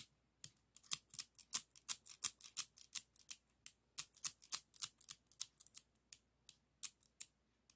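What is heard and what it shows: A hand opens and closes a pair of yellow and red plastic pinking (zigzag) craft scissors, which have a metal blade insert and a hollow plastic body. About thirty quiet, bright, dry plastic clicks and snips come at an uneven pace, each ending almost instantly with no ring.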